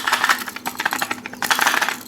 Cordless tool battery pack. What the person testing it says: you can kind of hear them rattling around in there